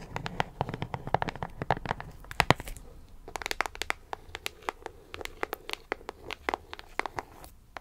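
Long acrylic nails tap and scratch the face and top edge of a closed, printed cardboard puzzle box held upright. Rapid, sharp, dry clicks with bright edges and very short decay fall in irregular bursts over a faint low rumble, with a short scratchy texture between some taps. The loudest cluster of taps comes about a third of the way through, followed by a brief lull before the tapping resumes.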